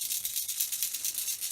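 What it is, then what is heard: Toy figure with a rattle inside. A vintage plastic Rattler action figure, a rattlesnake-based Snake Man, is shaken to sound the rattle inside it. A steady, bright, hissy rattling pulses quickly throughout, with nearly all of its energy high above 2 kHz and no low end.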